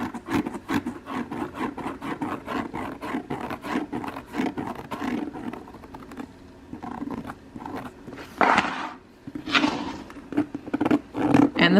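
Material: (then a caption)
Leather. The soft pebbled leather exterior of a real leather handbag is rubbed in a rapid series of short strokes, giving a dry, muted scuffing sound centered low in the midrange. The strokes thin out midway, then a few louder bursts follow near the end.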